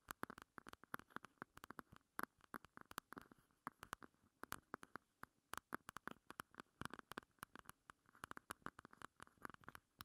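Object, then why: Small plastic compact. A small pink plastic heart-shaped compact, held upright, is tapped and scratched along its sides by long nails. Dozens of quick, quiet, dry clicks come in irregular bursts, each with a short hollow plastic tone around 1.1 kHz that dies away almost instantly, mixed with faint scratchy rasps throughout.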